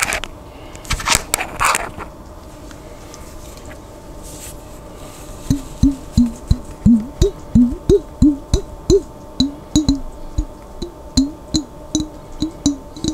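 A glass jar containing water is tapped, first with a few bright, noisy knocks and then, after about five seconds, with a steady run of resonant, wood-block-like taps. The taps sit around a low-mid pitch that shifts slightly up and down, and each one dies away quickly.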